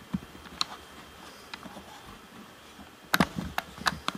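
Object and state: Plastic game controller.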